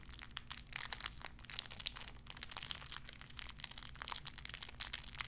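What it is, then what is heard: Crinkled clear plastic wrapper. A small clear plastic bag wrapped around a tiny white figurine is crinkled and squeezed between fingertips with long red nails. The result is a quiet, continuous stream of bright, crisp crackles and crinkles over a faint, steady low hum.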